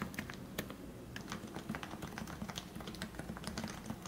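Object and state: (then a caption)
Plastic Topre keyboard being typed on. Fingertips type continuously on a lubed plastic Leopold FC660C Topre electrostatic capacitive keyboard with 45g switches and plastic keycaps. The result is a steady stream of soft, muffled keystrokes with a low, rounded thock and quick, bright clicky edges that die away fast.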